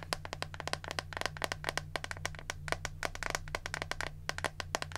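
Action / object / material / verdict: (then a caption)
tap / plastic hairbrush / plastic / none. Long nails tap rapidly on the smooth back of a hand-sized pink plastic detangling hairbrush, with the bristle side shown at the end. About 36 short, dry, bright clicks come in quick uneven bursts with almost no ring. A steady low hum sits underneath.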